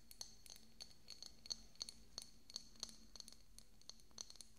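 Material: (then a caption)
Glass. Fingernails tap a small, hollow, decorative pink glass bottle with a cork stopper, held beside the microphone. They make a quick, irregular run of light, clinking taps with a bright, high glassy ping that dies away almost at once. A faint steady low hum sits underneath.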